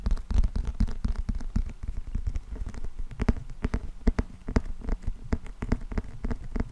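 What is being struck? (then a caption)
Paperback book with glossy cardboard cover. Fingertips and nails tap and scratch the glossy cardboard cover of a closed paperback book with a green spine, held in both hands. A rapid, uneven run of soft, dull taps with faint scratchy swipes is heard. The sound is low and muffled, and each tap dies away almost instantly with no ring.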